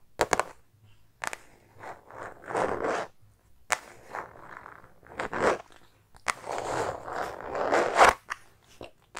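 Long painted nails scratch and tap a small, soft, hollow silver star-print synthetic leather makeup bag, a metallic faux-leather cosmetic pouch held in the hand. Irregular bursts of dry, crinkly scraping alternate with sharp, bright taps and short pauses, with almost no low end.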